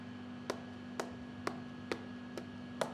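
A piece of fresh, shiny beef lung is tapped six times, giving short, hollow, drum-like taps over a steady low hum. It sounds hollow because of the many air pockets inside, unlike a dense piece of meat.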